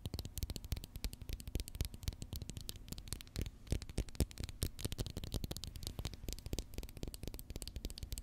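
Long fingernails rapidly tap and scratch a small, hollow white plastic Pritt glue stick tube held in the fingers, later turned cap end up. Dense, quick clicks and scratchy patters follow one another with very short decay, a low thump under each tap and a faint high edge on top.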